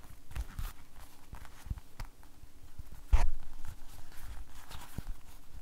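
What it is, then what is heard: Rubber glove being shaken and squeezed. An empty blue rubber household glove is held by the cuff while the rubber is shaken, flapped and squeezed with fingers. Soft, low, rubbery flapping and squeaky rustling sounds continue throughout, with one louder, sharper flap about halfway through.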